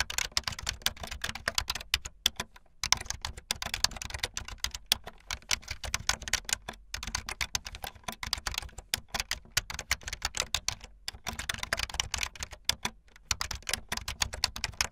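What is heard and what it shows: Fast typing on a full-size backlit plastic Bluetooth membrane keyboard with white and blue plastic keycaps and a hollow plastic body, the keys pressed with fingertips and the tips of long painted nails. A dense, rapid stream of bright, short plasticky clacks and taps carries on for the whole clip, broken only by brief pauses. A faint steady low hum sits underneath.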